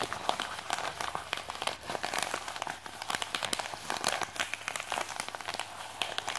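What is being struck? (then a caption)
Plastic postal mailer bag. Fingertips and nails scratch and crinkle a white printed plastic postal mailer with a package inside, lying on a desk. The sound is a dense run of sharp, dry crackles and rustles with bright highs and almost no low end, each crackle dying away almost instantly.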